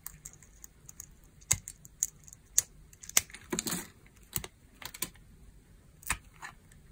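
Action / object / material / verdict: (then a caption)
scrape / glycerin bar soap scraped with a metal blade / glycerin soap / none. A solid red translucent dry glycerin bar soap is held in the hands while a metal knife blade scrapes and cuts crunchy pieces off it. Short, dry, bright crunches and scrapes come at irregular intervals, with one longer rasping scrape near the middle of the clip.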